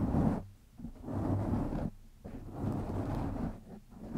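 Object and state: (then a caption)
Foam microphone windscreen being scratched. Fingertips of both hands scratch a black foam windscreen on a microphone. The scratching comes through as a deep, muffled rumble that swells and fades in waves, with almost no high or bright content.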